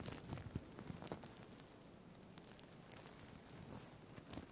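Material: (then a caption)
Plastic. Fingertips scratch and flip the plastic sequins on a green sequined fabric tie held above the mic. The result is a quiet, irregular crackling rustle with a low rumble, broken by sharp, bright clicks, bunched near the start and again at the end.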